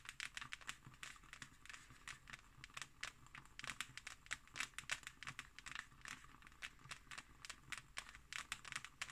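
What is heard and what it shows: Long nails scratch and tap across the embossed, textured cover of a closed thick hardcover book. A quiet, rapid run of short, dry, bright taps rides over a crinkly scratching texture, each tap dying away almost at once.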